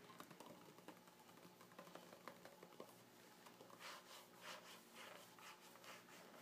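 Fingertips rub and scratch across the two-page spread of an open magazine with glossy, thin pages. Quiet, light ticking and scratching comes first, then gives way to a series of brighter, airy swishing strokes.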